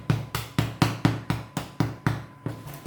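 A freshly baked artisan bread loaf is turned upside down and tapped on the bottom eleven times in a steady rhythm. Each tap gives a short, low, hollow thud that dies away quickly. The hollow sound shows the loaf is baked through.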